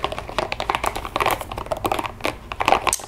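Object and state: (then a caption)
Rubber spiky ball. Long fingernails tap and scratch quickly on a small pink translucent rubber spiky ball held in the fingers. The result is a rapid, uneven run of short, dry, clicky taps mixed with light scratchy rasps, bright in the upper mids with almost no low end or ring.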